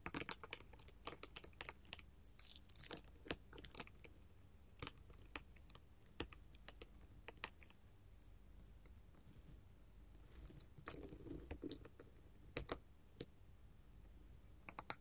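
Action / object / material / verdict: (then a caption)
tap / glass mosaic tile sheet tapped with metal claws / glass / none. A flat sheet of colored glass mosaic tiles is tapped and scratched with long gold metal filigree finger claws. Quick, sharp, bright clicks and ticks come in irregular bursts, with occasional brief scraping passages over a low, quiet background hum. Each tap dies away almost instantly.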